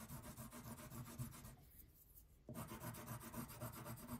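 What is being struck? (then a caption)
Wax crayon on thin paper over a table. A blue wax crayon is rubbed back and forth across the background area of a thin paper coloring page lying flat on a table, making a steady, low, papery scratching at about four strokes per second. The rubbing quiets for about a second in the middle, then resumes at the same pace.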